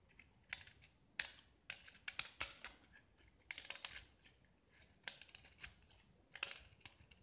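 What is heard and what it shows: A metal utility knife blade scrapes the purple painted diamond-pattern face of a small solid gypsum brick, sending flakes falling. The sound is a series of short, bright, dry scratching strokes with crisp crackles and almost no low end, each stroke dying away quickly into near silence.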